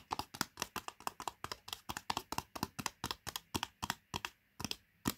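Long painted nails and fingertips tap the printed foil-paper lid of a medium Pot Noodle cup, a plastic instant noodle cup that is sealed and likely full, standing on carpet. A quick, steady run of dry, crisp clicky taps is heard, each one short and bright with almost no ring, easing into slightly sparser taps near the end.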